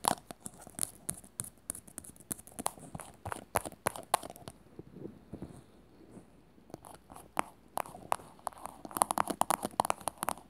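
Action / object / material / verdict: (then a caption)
tap / small plastic cylindrical container / plastic / none. Long nails rapidly tap and scratch a small, glossy teal plastic cylinder, likely hollow, as it is turned in the hands. There are about 36 quick, dry clicks with no ring, mixed with soft scratchy rasps and bright ticks. A quieter scraping lull in the middle gives way to a denser burst of taps near the end.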